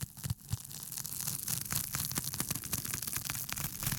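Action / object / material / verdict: scrape / thin foam sheet / foam / none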